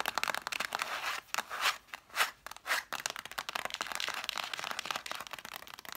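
Long nails tap and scratch quickly across the cloth spines of a stack of red cloth-bound hardcover books. Dry, crunchy, bright ticks and rasps with no low end cut off sharply, and a few longer scratching strokes swell up in the middle before the fast tapping resumes.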